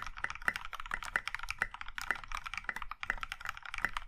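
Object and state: Mechanical keyboard with plastic keycaps.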